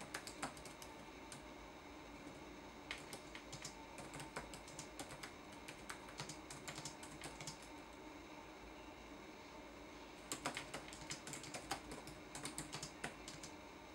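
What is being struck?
Plastic laptop keyboard.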